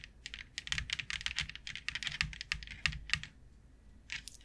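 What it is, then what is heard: Plastic grid board. Long coffin-shaped acrylic nails tap and scratch across a thin, rigid, flat white plastic grid board lying flat on a table, with both hands resting on it. A quick run of bright, dry clicks and short scrapes fills the first three and a half seconds, each tap dying away almost instantly. A brief quiet follows before one last burst of tapping.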